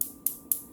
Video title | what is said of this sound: Beauty Secrets Acrylic Nails Kit - Acrylic Nails at Home | They should make a really loud tapping sound. That's how you know that they're dry.